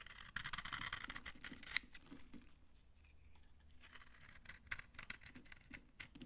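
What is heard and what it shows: A utility-knife blade scrapes crunchy shavings off a dry, solid yellow soap bar held in the hand. Bright, dry scraping and crackling comes in bursts, with a quieter stretch in the middle. A sharp crunch lands near the two-second mark and another near the end.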